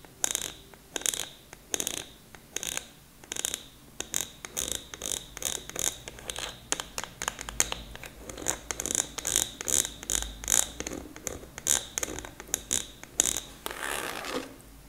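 A large purple plastic expanding file folder is scratched and tapped near the clasp and top with long acrylic nails. Quick, bright clicks and scratchy strokes repeat throughout, mostly in the high range with little low end. The clip ends with a longer rustling scrape.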